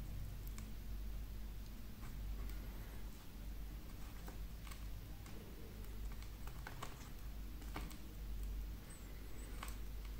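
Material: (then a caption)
Wax. A metal folding knife scrapes and carves thin curls off a hand-held, palm-sized, pyramid-shaped solid wax candle with green and red layers, working in short strokes. Soft, dry, tick-like scrapes come one after another over a steady low hum that fills the background.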